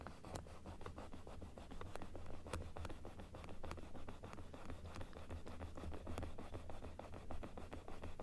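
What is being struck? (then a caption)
Plastic dental teeth model. Long nails rub and scratch across the teeth and inner palate of a large plastic dental model held open. The result is a steady run of quick, dry clicks and scrapes over a dominant low rumble, with little high-end content.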